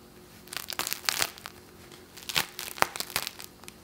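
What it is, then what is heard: Crisp-crusted sourdough loaf. A round baked sourdough loaf about 20 cm across, with a floured, scored, hard crackly crust, is held in both hands over a wire cooling rack while fingertips and thumbs squeeze and press the crust. Dry, bright crackles and crunches come in two bursts of rapid snaps separated by a brief pause, each snap dying away almost instantly with no low rumble.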